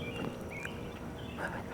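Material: Nothing is struck.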